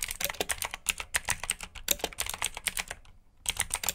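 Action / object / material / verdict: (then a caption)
tap / plastic mechanical keyboard / plastic / none. Fingertips with short nails type rapidly on a full-size black plastic mechanical keyboard with RGB backlit keycaps, clicky blue switches and hollow key housings. About two dozen sharp, bright clicks come in quick bursts, each dying away almost instantly. There is a brief pause near the three-second mark before the typing resumes.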